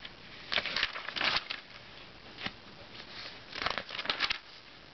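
Fingertips drag across the pages of an open Self magazine and turn its thin glossy paper sheets. Bright, crisp rustles and swishes come in short bursts, separated by quiet stretches of faint paper hiss with almost no low end.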